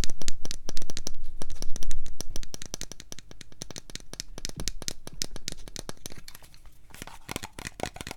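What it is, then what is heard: Plastic cosmetic jar. A hand-sized, cream-coloured plastic body lotion jar with a printed cap, hollow and apparently filled with product, is held close and tapped and scratched with long painted fingernails. Rapid, uneven dry clicks with no ring follow one another, loudest in the first couple of seconds before settling to softer tapping. Bright scratchy rasps mix in toward the end.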